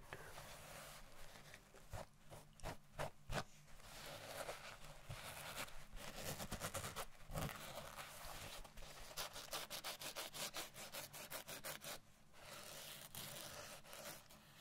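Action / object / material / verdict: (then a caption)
scrape / felt fabric stocking / felt / none. Long painted nails scratch and rub across a soft blue felt Christmas stocking printed with a snowman. It is held up in the air as it is scratched. The result is a quick, uneven series of dry, papery scratching and rubbing strokes with bright, hissy texture and no ringing.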